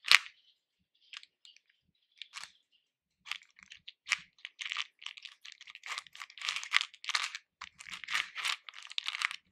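Fingers and nails rummage through loose hard-shelled candy pieces in a pink plastic bowl. Bright, crisp clicks and rattles come in a few sparse bursts at first, then build into a dense, steady stream of clattering.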